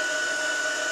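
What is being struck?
Nothing is struck.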